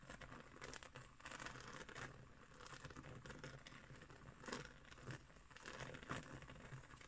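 Long nails scratch across a round, flat woven straw trivet, making a steady, dry, crinkly rasp that brightens into sharper bursts in the second half. A faint low hum sits underneath the scratching throughout.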